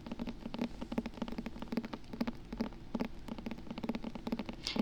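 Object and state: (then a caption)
Hardcover book spine. Rapid, light tapping on the spine of a hardcover book makes a steady stream of short, dry clicks with a low woody tone, much like typing on a laptop keyboard. Each tap dies away almost instantly.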